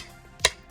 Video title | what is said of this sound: Ambutech Rolling / Non-Rolling Mobility Cane Tips for Long White Canes for Blind | you can hear how loud it is